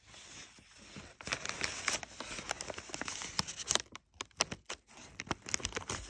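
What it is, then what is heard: Crinkled kraft paper. Fingers and a thumb rub and press crumpled, thin brown kraft packing paper, making a quiet, bright crinkling. Dense rustling breaks into sharp, high crackles and snaps, with brief near-silent gaps toward the end.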